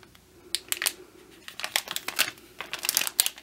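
Fingertips grip and crinkle a hand-sized, printed clear-and-brown plastic bag that holds a foam bear squishy, its soft flexible sides full with the squishy inside. Sharp, bright crinkles come in short bursts separated by quiet gaps, dry and thin with no low end.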